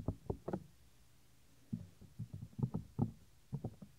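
Fingertips press and tap the earflap of a white silicone ear on a binaural microphone, producing dull, low, knock-like thuds. The thuds come in short, irregular bursts with quiet gaps between them, and each dies away almost instantly with no ring.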